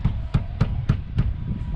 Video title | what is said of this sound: Real Estate Tips: What to look at when Buying a Home | it's a hollow sound meaning that it is a framed wall